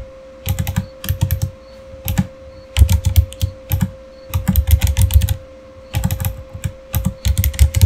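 Fingertips type on the keys of a full-size, solid, backlit plastic gaming keyboard in quick bursts separated by short pauses. Each keystroke gives a short, deep clack with little ring, and a faint steady hum runs underneath.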